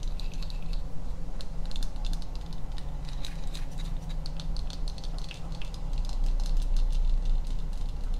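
A small hollow tealight holder shaped like a cluster of skulls, apparently cast resin with a pink candle in the top, is held in both hands close to the mic and tapped and scratched with long painted nails. Quick, irregular bright clicks and scratches patter over a steady low rumble, smeared by an echo/delay effect into a continuous ticking texture.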